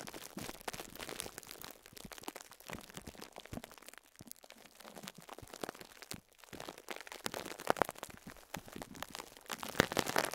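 A small yellow and pink foam sponge wrapped in clear cling film is repeatedly pressed and crushed by fingertips against a cloth. The result is a steady stream of soft, crinkly, crunchy plastic crackles with bright, dense texture. A few louder crunches come near the end.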